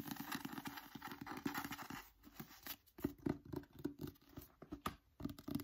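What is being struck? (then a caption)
Book with glossy paper cover. Fingertips and nails tap quickly on the front and back of a solid novel with a glossy teal paper cover. The result is a dense patter of short, dry clicks with almost no ring, easing into softer, sparser taps midway before quickening again.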